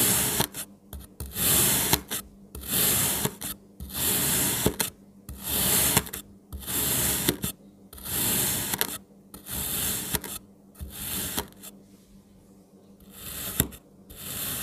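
A solid pink, palm-sized kinetic sand strawberry shape is sliced again and again with a kitchen knife. Each cut gives a crunchy, bright, gritty scrape that swells and stops, with short silent pauses between strokes and a longer quiet gap near the end.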